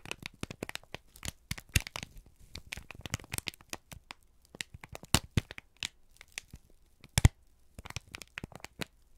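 A single thin, crumpled sheet of brown kraft paper, held in both hands, is squeezed and crinkled with the fingertips and thumbs. It makes a dense run of sharp, dry crackles and crinkles that are bright from the low range up to high. The pops are short with almost no ring, and a few louder snaps stand out from the steady crackling.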